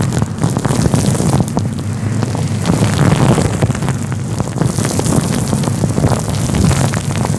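Fingertips rub a fluffy grey-white faux fur windscreen covering a microphone. A steady, dense, low rumbling rustle with many soft crackling brush strokes continues throughout, heavy in the bass with very little high end.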